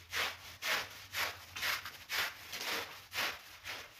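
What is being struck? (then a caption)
Synthetic pile rug scrubbed by push broom bristles. A long-handled push broom brushes and scrubs the pile of a mostly dry, ladybug-shaped red and black synthetic pile rug lying on a marble floor. Bright, scratchy bristle swishes repeat in a steady back-and-forth rhythm of about two strokes per second, each rising and fading quickly. A faint low hum sits underneath.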